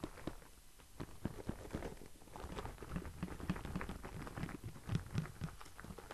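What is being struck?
Cardboard product box.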